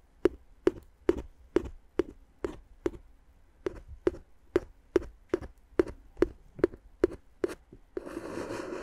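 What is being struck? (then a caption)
Inflated plastic air-column packaging tapped with a wooden stick. A wooden stick taps the hollow, air-filled tubes of clear inflated plastic air-column cushion wrap wrapped around the microphone. It makes a steady series of short, hollow, dry taps with a low-mid tone and almost no ring. After about eight seconds the taps give way to a continuous broad hiss.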